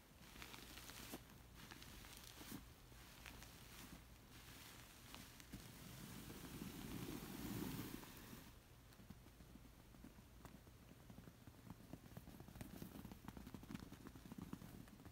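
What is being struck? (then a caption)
Woven fabric pillow. Fingertips and long nails scratch the coarse woven fabric near the lower edge of a zigzag woven textured pillow. Dense, crackly scratching rustles continue throughout, swelling into a louder, fuller brushing stretch around the middle before settling back into steady scratches.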